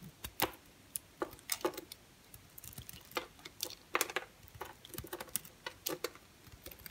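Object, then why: Solid bar soap cut with a knife blade. A utility knife blade carves a solid rectangular bar of orange and cream striped soap held in the hand. It makes a quick, irregular series of sharp, crisp clicks and scrapes with bright, dry high end and very little low rumble. Each cut snaps off almost instantly against a quiet background.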